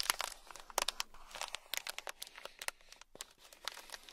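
A small sealed clear plastic bag packed full of tiny gold beads is scratched with a thin black stick and then rubbed with fingers. Bright, crinkly plastic crackles and sharp little clicks come in an uneven, rapid run, with almost no low end and each tick dying away instantly.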